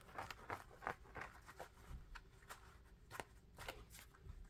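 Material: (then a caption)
Rubber. Fingertips tap and scratch the tread of an orange knit sneaker held sole-up, with a dark grey rubber outsole and orange pads. About eleven quick, soft, dry taps come at an uneven pace, with short scratchy rubs between them and almost no ring after each hit.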